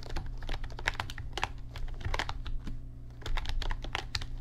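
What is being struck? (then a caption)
Plastic mechanical computer keyboard. A backlit RGB mechanical computer keyboard with plastic keycaps is typed on continuously with the fingertips of both hands. It gives a quick, uneven run of short, dry plastic clicks and clacks with almost no ring, over a steady low hum.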